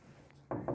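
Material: Mahogany wood.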